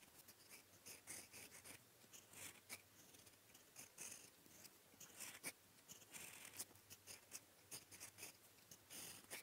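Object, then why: Metal fountain-pen nib on paper. A gold metal fountain-pen nib, held in the fingertips, writes in blue ink on a sheet of lined writing paper. It makes quiet, bright, high scratching strokes in short, irregular bursts with almost no low end. The strokes die away instantly between pen movements.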